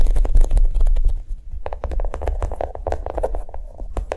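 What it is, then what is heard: Chocolate-shaped notebook. A notebook made to look like a bar of chocolate is tapped quickly with soft, dull taps. The taps come in a fast, uneven patter with a short, muted midrange knock over a low rumble, louder in the first second and softer after.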